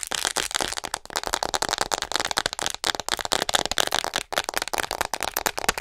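Long nails tap and scratch fast and hard across the back of a hollow white plastic acupuncture model doll. The result is a dense, continuous run of sharp, dry clicks and rasping scrapes, bright and crisp with almost no low end and no ringing between strokes.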